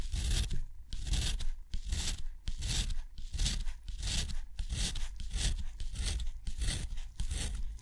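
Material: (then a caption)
Paper. A steel nib scratches rows of short hatch strokes and a crossing line across a sheet of thick, rough, white textured watercolor paper. Steady bursts of dry, bright scratching repeat in quick rhythm, with a soft low rumble beneath each stroke.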